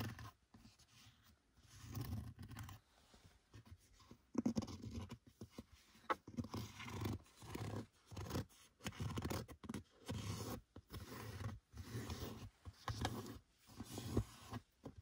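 Fingers and nails rub, scratch and scrunch the soft, hollow, loosely folded black leather gear lever boot with red stitching in a Seat Leon FR. The result is a busy run of short, dry, low-heavy scrapes and crinkles with little bright content and almost no ring, rising and falling in quick bursts.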